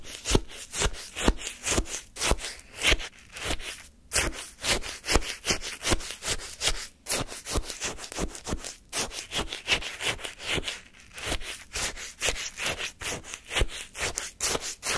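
A wooden spoon held by the fingertips scrapes repeatedly through pale lemon shaved-ice sorbet in a paper cup. The result is a rapid, steady series of short, crunchy, bright scraping strokes with a soft low thud under each one.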